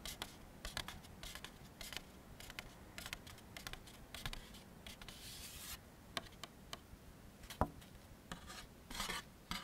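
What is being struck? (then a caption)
Molded paper plate. A thin, empty, white molded-fiber paper plate is tilted in the hands while its face is rubbed and scratched with fingertips and nails. The result is a quiet, dry run of scratchy, rasping strokes and bright clicky scrapes with short gaps between them, each sound stopping almost immediately.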